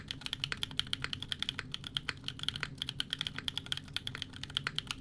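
A 60% mechanical keyboard with a Fjell case, FR4 plate, GMK Serika ABS plastic keycaps and EMOGOGO tactile switches is typed on rapidly with the fingertips of both hands. About forty short, bright, clacky key presses follow one another in quick succession, each dying away almost at once, peaking near 3.2 kHz over a faint low rumble.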